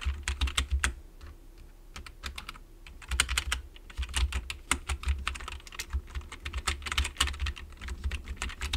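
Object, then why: Plastic membrane computer keyboard. Fingertips of both hands type rapidly on a full-size black plastic membrane-style computer keyboard with a hollow plastic body, resting on a wooden desk. Quick, bright key taps over a low, hollow thump come in dense bursts, easing off briefly around the second to third second, then pick up again. Each tap dies away almost at once.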